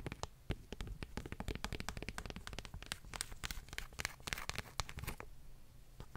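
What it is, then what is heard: Paperback book tapped and scratched with nails. Long fingernails tap and scratch the glossy paper cover of a solid paperback book. Quick, dry clicks and scratchy, crinkling strokes come in a dense, uneven stream, each one bright and very short, over a soft low rumble.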